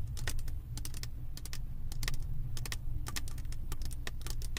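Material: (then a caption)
Plastic resin. Fingertips with long acrylic nails rapidly tap and scratch across a flat diamond painting canvas covered in small plastic resin drills. The result is a quick, irregular stream of sharp, bright clicks that sounds like typing on a keyboard, with each click dying away almost instantly over a steady low rumble.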